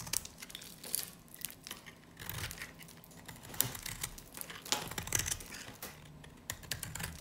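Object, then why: Varnished bar of soap. A solid yellow soap bar with a black varnished side, super dry, is scraped and cut with a snap-off knife blade held in the other hand. The clip is a quiet run of crisp, bright scraping and crackling with sharp crunchy clicks. Some of the clicks stand out louder near the start and middle of the clip.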